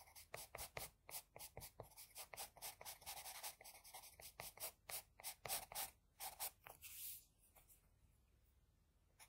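A wooden HB pencil, held low and angled, scratches lines across a sheet of flat white drawing paper on the nose area of a drawing. About thirty quick, bright, papery strokes follow one another at an uneven pace, each with a short hissy rasp and almost no low end. After a longer final stroke the sound drops to a faint background hush.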